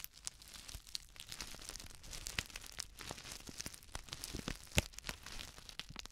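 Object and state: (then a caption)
Plastic instant soup sachet. A flat, sealed plastic instant soup sachet filled with dry contents is crinkled and scratched with long nails. The result is a dense, continuous stream of bright crinkling and crackling with quick scratchy clicks and a soft rustle of the dry filling. A sharper, louder snap stands out near the end.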